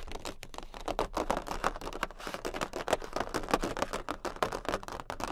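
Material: Cardboard.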